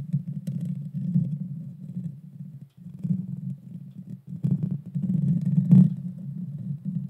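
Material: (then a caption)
Metal mesh. Long painted fingernails of both hands scratch the bare metal mesh grille on the hollow head of a small Blue Yeti Nano USB microphone. The result is a dense, continuous low rumbling scrape with almost nothing bright in it, broken by brief pauses near 2.7 and 4.3 seconds, and a sharper swell just before 6 seconds.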